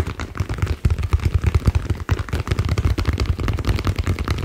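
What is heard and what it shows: A green ball is tapped rapidly in a steady run of dull, low thuds with almost no ringing. The taps are close and fast, with a brief pause near the two-second mark.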